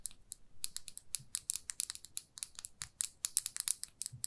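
A small glossy red plastic lipstick tube with a metal band, held in the fingers, is tapped and scratched with long nails. It gives about 25 sharp, bright, clicky taps in an uneven, rapid rhythm, each dying away almost instantly, over a faint low rumble.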